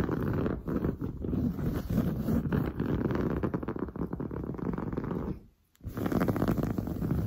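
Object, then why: Padded woven fabric sofa upholstery. Long blue nails scratch fast across padded, grey-brown textured woven sofa upholstery. The result is a dense, rough, continuous scratching texture weighted toward the low end. It breaks off into a brief silence just before the six-second mark, then resumes.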